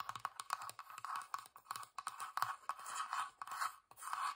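Long dark nails scratch the flat, grainy wooden underside and sides of a small hollow box. The result is a rapid series of short, dry scratching strokes with a steady midrange rasp around 1 kHz and almost no low end.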